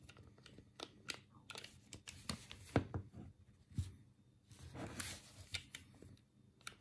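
A black, hollow plastic Sega Mega Drive controller is held in both hands while thumbs click its D-pad, buttons and start button. The result is a series of short, dry plastic clicks and taps, some sharper and brighter than others, with quick decay and a faint hollow body resonance.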